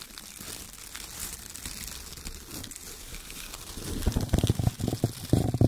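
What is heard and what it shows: Fingertips rub and crumple strips of shredded brown kraft paper, then hands squeeze small bunches of it. A soft, steady crinkling rustle runs through the first four seconds. It gives way to louder, irregular crunching bursts with more low-end weight as the bunches are squeezed.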